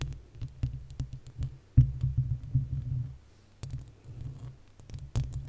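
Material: Metal mesh.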